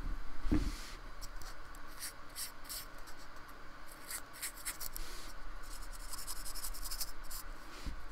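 A thin paintbrush rubs short strokes across the bumpy surface of a small painted square of solid white polystyrene foam resting on a wooden table. Soft, scratchy brushing comes in quick, irregular bright swishes over a low, steady hush, with a dull thump near the start.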